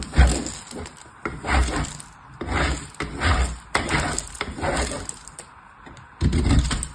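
A purple bar of soap, held in the fingertips, is grated across the perforated face of a hollow blue-green metal box grater held on its side. Repeated rubbing strokes give a coarse, crumbly rasp with a heavy low rumble and thin bright scraping, each stroke swelling and then fading.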